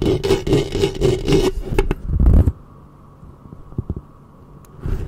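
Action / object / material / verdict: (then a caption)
scrape / metal mesh microphone grille / metal mesh / none. Long fingernails scratch and rub the metal mesh grille of a black studio microphone, with the hands staying on the mic head. Quick rhythmic scratching strokes build into a loud, muffled low rubbing, then drop to near-silence with a few faint ticks. The scratching returns softly at the end.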